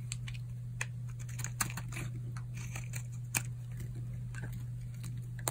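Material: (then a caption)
Soap. A solid tan oval bar of dry soap, held in the hand, is carved with a utility knife blade and appears to break into pieces. Quick, dry, crisp crackles and scraping clicks are heard over a steady low hum. The snaps are brief and bright, with a few sharper cracks standing out.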